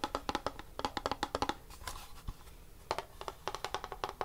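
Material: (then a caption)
Plastic. A grey plastic Super Mario Bros 3 NES cartridge, a hand-sized hollow hard-plastic shell with a paper label, is held in both hands and tapped with fingernails and finger pads. About two dozen quick, dry, hollow clicks ring out with a pitch around 824 Hz and almost no decay. They come in two fast bursts separated by a quieter stretch of soft rustling in the middle.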